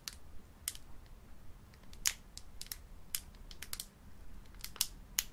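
Both hands hold a small, sealed metallic-foil plastic Pokémon booster pack full of cards, showing its back, while long painted nails press and crinkle the foil. The result is a run of sharp, bright crackles and ticks that die away almost instantly, with quiet low rumble underneath.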